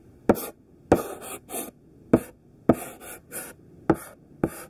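A thick pink stick of sidewalk chalk, gripped in the hand, draws overlapping squares on a flat black chalkboard. Eight rough scratching strokes are heard, each starting with a sharp tap and trailing into a bright, gritty scrape, with short pauses between them.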